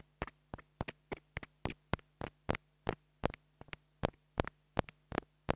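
A small black plastic mini lavalier microphone, held between fingers, is tapped with a wooden stick about 19 times in an uneven rhythm. Each tap is a short, dry knock that dies away almost at once, some landing as quick double taps. A faint low hum runs steadily underneath.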